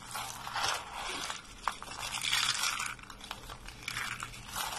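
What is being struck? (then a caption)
Soap shavings. White dry soap shavings and flakes are gathered and crushed between both hands and fingertips. The result is a continuous bright, crisp crunching and crumbling, with waves of crackle that swell and fade and a few sharper snaps along the way.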